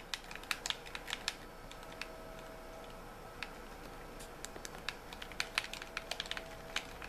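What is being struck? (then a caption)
Plastic game controller shell. A white, hollow plastic gamepad is turned in the hands while fingertips tap and click on its plastic shell. Many short, bright, dry clicks stand out over a low, steady hiss, some close together and others spread apart.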